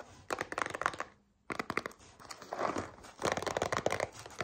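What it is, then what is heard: Cardboard cereal box. Long nails tap and scratch a small printed cardboard cereal box, likely partly full, making quick, dry, crinkly clicks centred around 1 kHz. Rapid bursts of tapping and scratching are broken by a brief near-silent pause, followed by a softer stretch of scratching before the tapping picks up again.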